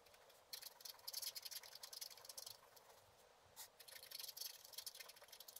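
A wooden stylus scratches the coating on the lower area of a flat scratch-art paper card held in one hand, rubbing back and forth. The result is a dense run of quick, bright, papery scratching strokes with almost no low end, a brief quieter pause in the middle, then more scratching.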